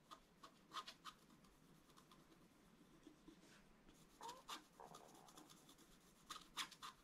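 A wooden stylus scratches and rubs across a thin, solid, flat black wax-coated scratch-art card. Quiet, irregular bursts of bright, dry scraping strokes with a slight squeak near 1 kHz stand out over a soft, continuous rubbing hiss. The strokes cluster at the start, ease off in the middle, then return in quick pairs toward the end.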